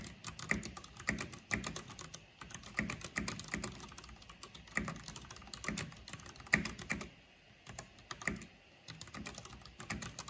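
Fingertips and long painted nails type fast on the plastic keycaps of a full-size black plastic mechanical computer keyboard with purple RGB backlighting. The result is a steady stream of sharp, bright clicks and clacks with a low thock beneath. Brief pauses come near the eight- and nine-second marks before the typing resumes.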